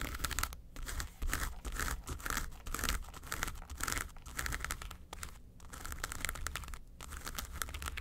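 Long nails scratch the front face of a flat, hollow yellow case covered in textured faux leather. The result is a continuous, uneven crinkling rasp with bright scratchy detail over a dull hollow rumble, swelling and fading in short bursts.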